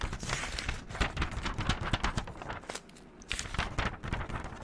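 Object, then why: Spiral-bound paper notebook. Long neon-green acrylic nails flip and handle the white paper pages of a handheld, pink-covered spiral-bound notebook. Dense, quick papery rustles and soft crinkles mix with low thumps and bright flicks, easing into a quieter stretch around the three-second mark before the page turning picks up again.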